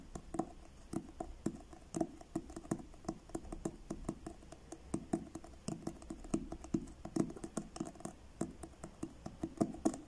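Fingertips tap the front cover of a blue card-covered paperback book held upright. The result is a steady series of soft, dry, quiet taps with a dull low-mid thump and almost no ring.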